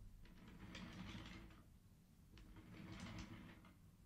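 Fingertips of one hand slide the colored wooden beads on the top rows of a wooden abacus against each other. Two bursts of soft, bright wooden clicking and clattering are heard over a low, steady hum.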